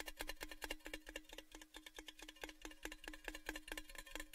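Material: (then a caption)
Sheet metal. Fingers tap rapidly and unevenly on the outside of a tall, hollow, orange Baileys metal gift tin held upside down in front of the microphones. Each tap gives a short, hollow metallic knock with a steady low ring around 309 Hz and bright clicky overtones, and each one fades quickly.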